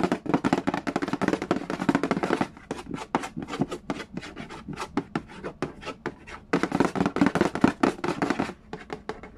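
Fingertips and nails tap and rub the lid of a hollow cardboard Yahtzee board game box. Dense bursts of fast tapping and scratching open and close the clip, with a sparser run of separate, distinct taps in between. Each tap is short and dry, with a hollow, low-mid body and a soft scratchy brightness.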